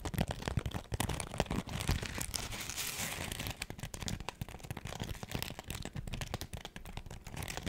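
Long acrylic nails scratch a hand-sized smiley-face cleaning sponge, with a pink textured foam side and a yellow foam layer, held in front of the face. A dense run of quick, dry crinkling scrapes rises and falls steadily, mixing low rough rubbing with bright scratchy texture and no lingering ring.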